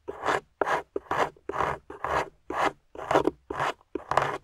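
A metal pick held by a hand with long nails scrapes and chips at a solid grey plaster fossil dig block on a table, with loose plaster crumbs around it. Dry, gritty rasping strokes repeat at about two per second, centred in the midrange with little low end. Each stroke stops short with almost no ring.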